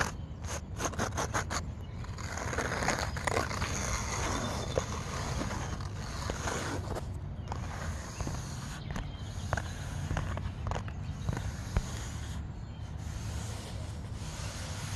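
A taut grey canvas chair seat with grommets is scratched with fingernails and rubbed with fingertips. The result is a steady soft scraping and rustling over a low rumbling bed, broken by sharp, brief ticks and scratches throughout.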